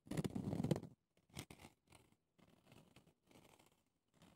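Fingernails painted red scratch the rough round pumice stone top and the clear ridged plastic sides of a small hand-held foot brush with bristles. A loud, dense, gritty rasp fills the first second, then gives way to a series of quieter, shorter scratching bursts separated by brief silences. The scratching is dry and close, with a low, rough texture.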